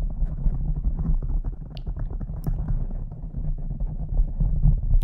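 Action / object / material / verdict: scrape / foam microphone windscreen / foam / none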